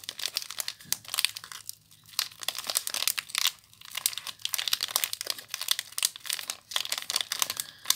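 A small soap bar in clear plastic wrap is crinkled and twisted by fingers with long nails. Dense, bright crinkling comes in bursts with brief quiet gaps, and there is almost no low end.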